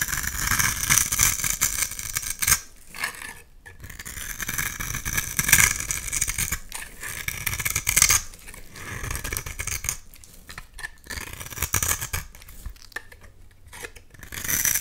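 A utility knife blade scrapes crumbly orange shavings off a solid, hand-sized oval red soap bar held in the hand. The result is a bright, crisp, continuous scraping with short pauses between strokes and little low end.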